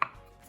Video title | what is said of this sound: FINISHING TILING AT THE AIRPLANE HANGER HOUSE! | it's solid all the way over here but then right here is hollow